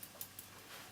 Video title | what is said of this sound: Sausage Rolls | you can hear that they are quite crispy and they are cooked all the way